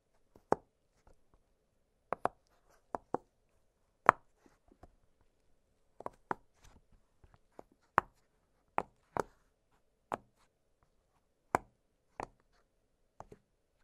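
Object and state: Silicone pop-it fidget toy.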